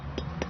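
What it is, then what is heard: Good durian, hollow sound. A durian fruit is tapped twice to judge its quality, giving two short, dull, low-pitched knocks over a steady low background hum. The hollow sound marks it as a good durian.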